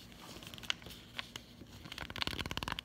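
Long acrylic nails tap the back of a closed cardboard chocolate bar sleeve held upright. A few sparse, sharp, bright clicks are followed by a quicker run of dry taps over a faint crinkly rustle.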